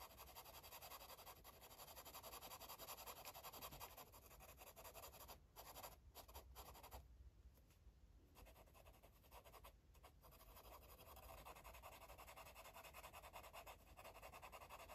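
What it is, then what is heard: Marker coloring on paper. A yellow marker rubs in quick, repeated strokes across a paper coloring book page, making a soft, steady scratching hiss with bright high texture. The strokes run continuously at a quiet level with brief lighter pauses near the middle.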